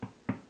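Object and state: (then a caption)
Hollow-sounding, fully baked bread loaf. Two quick knocks on the bottom of a whole wheat bread loaf give short, low, hollow thuds with almost no ring. The hollow sound shows the loaf is good and baked through.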